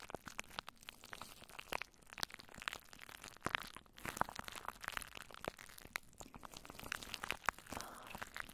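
Long nails scratch and stroke crinkly plastic cling wrap stretched over a microphone head. The result is a quiet, continuous stream of sharp crackles and crunches, bright and crisp with little low end, and each snap dies away almost instantly.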